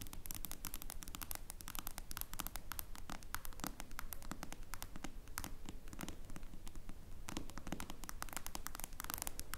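Long blue nails on both hands rapidly tap the dark glass screen of a smartphone lying face up on a wooden table. The result is a steady stream of short, dry, crisp clicks in an uneven rhythm over a soft low background hum.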